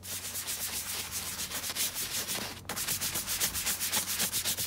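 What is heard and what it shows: A wooden-handled bristle brush scrubs a tall tan leather boot, hollow, empty and coated in soap lather, along its shaft and foot. Quick, steady back-and-forth strokes make a bright, hissy scratching with a faint wet edge, pausing briefly just before the scrubbing resumes at a slightly louder level.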